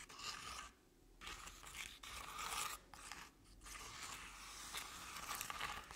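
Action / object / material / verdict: scrape / crepe-paper-covered decorative pumpkin / crepe paper / none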